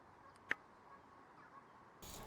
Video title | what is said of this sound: Casio Protrek What are they made of? How do they look after 3 years? | it's a pretty thick case back you know it doesn't have a teeny ring to it